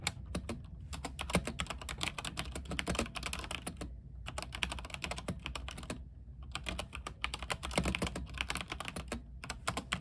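Fingertips type rapidly on a mechanical keyboard with white plastic keycaps on a silver frame with a backlight. Dense streams of short, bright clicks and clacks rattle over a steady low hum, with brief pauses near the 4 and 6 second marks.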